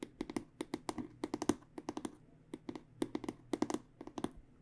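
Fingernails tap rapidly on the aluminum rails of a hollow, black, aluminum-edged hard microphone case. The result is roughly 25 quick, dry clicks with a hollow, mid-low body and bright tick on top, each dying away almost instantly. They arrive in short bursts separated by brief pauses.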